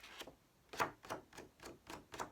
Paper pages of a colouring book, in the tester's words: you can hear if I kind of just flick they're not flimsy in the slightest. They're really kind of quite substantial.